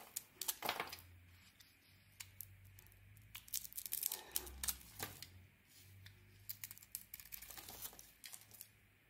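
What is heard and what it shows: A metal craft blade shaves and scrapes flakes off a hand-sized, solid dark-blue coated bar of soap with a white core, held in the palm. Quiet, crisp, dry scraping and crackling comes in a rapid, uneven series of short, bright strokes over a faint low hum.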